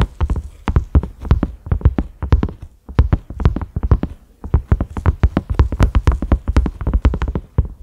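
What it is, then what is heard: Silicone pot lid. A cream silicone pot lid with concentric ridges and a black center knob is tapped with the fingertips and short nails of both hands. The result is a fast, uneven run of dull, low, muffled thuds with a faint click on top and almost no ring, pausing briefly near 3 and 4.5 seconds.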